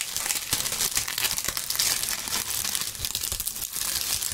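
Handfuls of dry maple leaves are crushed and crinkled by gloved fingers right next to the microphones. A continuous, dense, bright crackling crunch fills the clip, with little low end and no clear gaps between the sounds.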